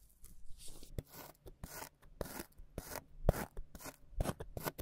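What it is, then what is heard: Kinetic sand slab being cut. A white plastic scraper blade cuts a flat, solid slab of beige kinetic sand on a white table into a grid of squares, then its plastic tip presses small notches into the surface. The result is a loose, irregular series of soft, crisp scraping and pressing sounds: short gritty bursts with a dull low thud beneath, each dying away almost instantly.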